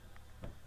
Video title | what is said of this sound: Bank Repossessed 50% off SALE sedan pick up van suv discount PS Bank & Security Bank Ph 100 + cars | parang walang laman, eh. Oh. Hollow siya.